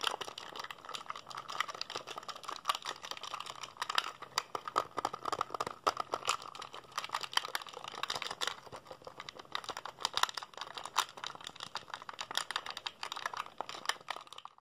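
A black, hollow plastic PSP handheld console is held in both hands while fingertips mash its buttons rapidly. A dense, continuous stream of short, dry plastic clicks with a bright edge and almost no low end runs steadily for about 15 seconds, each click cutting off instantly.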